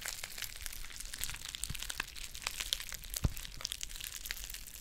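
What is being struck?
Foil tea pouch.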